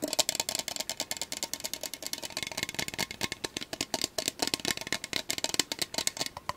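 A measuring cup is tapped rapidly, about 33 quick, dry taps in a steady run. Each tap is clicky and wood-block-like, bright and crisp, with almost no low end, and dies away instantly.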